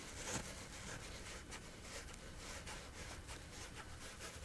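Fingertips and nails repeatedly scratch a flat, coarse woven fabric lying on a surface. The result is a quiet, steady, rough rasping with bright, high scratchy streaks over a faint low rumble.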